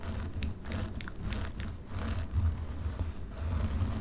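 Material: Synthetic fibre.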